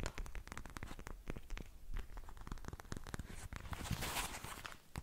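Fingertips and nails tap and scratch a soft, filled, hand-sized pink translucent plastic gel cushion pad with beads inside. A rapid series of close, dull taps with low thumps is heard, and near the end it gives way to a brighter, hissing scratch.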